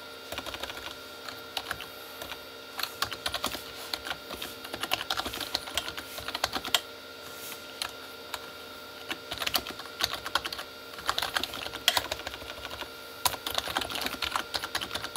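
Both hands type with fingertips on a full-size Corsair K35 plastic mechanical keyboard with red-backlit, hollow plastic keys on switches. Quick bursts of bright, sharp clacks and key presses come in uneven runs, with short near-silent pauses around seven and nine seconds. Each clack dies almost at once with little low end.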